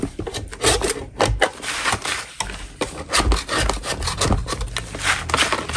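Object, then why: Natural chalk block scraped with a metal spatula. A solid block of natural chalk is scraped with a metal spatula, and powder falls off. Repeated rough, gritty scraping strokes, broadband and bright, come with dull low thuds and no ring.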